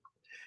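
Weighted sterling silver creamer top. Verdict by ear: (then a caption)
Hollow. Two light taps on the top of a weighted sterling silver creamer: a short high tick, then a brighter metallic ring near 1.8 kHz that hangs briefly. The sound is hollow and thin, with little depth or weight, showing that the silver shell over the weighted base is very thin, about an ounce of silver worth roughly $10–15.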